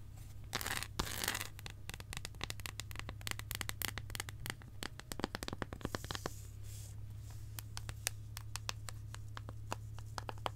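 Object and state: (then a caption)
Dark chocolate bar. A solid, embossed dark chocolate bar, held close, is scratched and tapped with long acrylic nails. Brief bright scratching bursts open the clip, followed by a rapid, irregular stream of sharp, crisp clicks and taps over a steady low hum.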